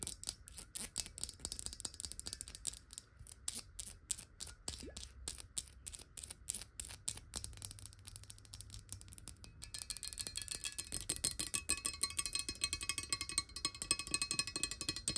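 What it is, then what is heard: Glass water bottle. Long nails tap quickly along the side of a clear, hollow glass water bottle that lies sideways and is partly filled with water. The bright, crisp clicks come in a fast, uneven stream. About two-thirds of the way through they grow denser and louder, and a faint glassy ring joins them.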